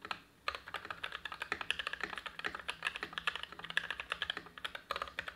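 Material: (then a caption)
Plastic. A tenkeyless dual-mode Everglide SK87 mechanical keyboard with lubed Gateron Ink Black v2 switches, black, white and pink PBT dye-sub keycaps, a steel plate and a foamed ABS plastic case sits on a desk mat and is typed on continuously with the fingertips of both hands. After a brief pause at the start, a rapid, steady stream of short, crisp, bright clacks follows with very little low end and almost no ring after each keypress.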